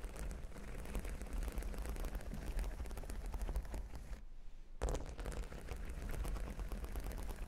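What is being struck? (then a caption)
Cork board covered with plastic half-pearl studs. Long pink nails on both hands scratch and tap across a flat, solid cork board covered with plastic half-pearl stickers. A dense, continuous patter of quick, clicky taps and scratches with a heavy low-end thump is heard. It pauses briefly near the middle before resuming.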